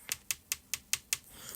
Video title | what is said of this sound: Almond Shape Acrylic Nails- Acrylic Nails At Home | once you tap it should make this sound which would let you know that the acrylic is hard it's cured and it's ready to be filed